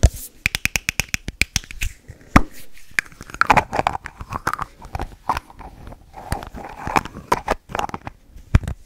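Long nails tap and scratch the white plastic cap of a hollow, hand-sized teal aluminum Moroccanoil hair spray bottle. A fast run of sharp, dry clicks, each dying away almost at once, mixes with softer, rasping scrapes across the cap.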